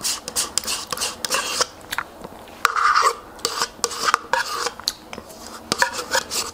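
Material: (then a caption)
Plastic. Long white acrylic nails scratch and tap along the side and base of a small, hollow, white plastic Light + Fit Greek yogurt cup, probably partly eaten, held in both hands. A series of quick, dry, raspy scrapes and light clicks with a bright, hissy edge, each cut off sharply with no ring.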